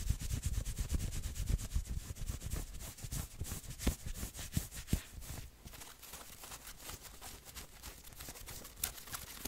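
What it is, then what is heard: Fleece hoodie being scratched. Fingertips and nails scratch the sleeves and chest of a worn grey and maroon fleece hoodie in fast, uneven strokes. Each stroke gives a soft, brushy scrape with a low rumble and a thin bright hiss. The scratching is louder in the first half and then settles into a quieter, steadier rustle.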